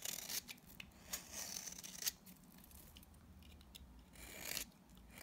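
A utility knife blade scrapes and shaves flakes from the face of a dry, palm-sized solid pink bar of soap held in hand. The sound is a quiet, bright, dry rasping and scratching, with a few sharper crisp peaks between steadier shaving strokes.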